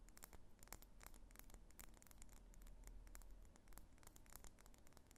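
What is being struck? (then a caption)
Wax pillar candle. A medium, solid cylindrical pillar candle of pink wax is held in the hands and tapped and scratched with long fingernails. Quick, dry clicks and scratchy strokes with bright, high tips sit over a soft, steady low rumble. Each tap dies away almost instantly.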